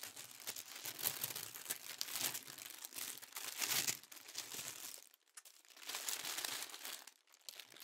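Thin pink tissue paper sheets are lifted, folded and crinkled with fingertips close to the mic. The result is a dense, bright, crackling rustle that swells and fades, with brief near-silent pauses around the five- and seven-second marks.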